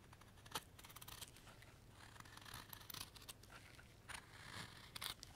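A steel knife shaves the end grain of a solid, pale light-wood carving block held in a gloved hand, using carving strokes. A quiet series of bright, dry scraping and rasping cuts follows, with sharper crisp peaks on some strokes over a faint low background hum.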